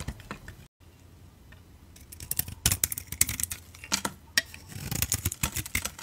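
A utility knife blade shaves the outer layer off a solid oval orange soap bar with a black glitter coating and a beige core, held in the palm. Quick, crisp, bright scraping strokes and short scratchy ticks follow one another with a faint low hum underneath, after a brief silent gap near the start.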